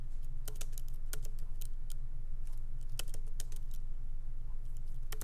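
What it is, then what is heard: Laptop keyboard typing. Fingertips of both hands lightly type on a MacBook Pro laptop keyboard with black plastic keycaps in an aluminum body, resting on a wooden desk. Short, bright, crisp key clicks come in an uneven rhythm over a steady low hum.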